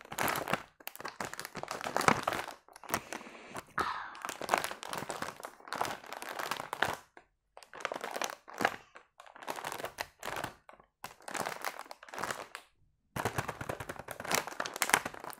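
A full, long yellow plastic packet of round biscuits is held in both hands and squeezed and crinkled with the fingers. Bursts of dry crinkling and crunching, centered in the mids with a bright edge and almost no low end, come with short gaps of near silence between them.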